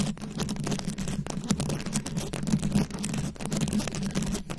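Long acrylic nails scratch and tap across a fist-sized microphone head fully covered in small glued-on rhinestones and beads. The result is a dense, continuous stream of quick, crisp clicks and scratchy rustles over a steady low hum around 200 Hz, with the level rising and dipping as the nails move.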